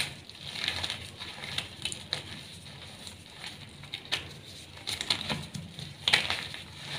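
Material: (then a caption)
Chalk. A small solid block of brown glittery reformed gym chalk (magnesium carbonate) is crushed and rubbed in bare hands with painted nails over a pile of chalk dust, crumbling into dry powder and chunks that are squeezed between the fingers. Dry, bright crunches and crackles rise from a soft, steady hiss of powdery rubbing, with sharper snaps standing out through the clip.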